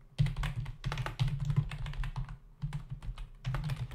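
Fingertips of both hands type rapidly on a full-size black plastic membrane keyboard with hollow keys resting on a dark desk. The result is a steady, fast run of soft, muffled clicks and thumps with a deep, hollow low-end body and very short decay, pausing briefly midway before resuming.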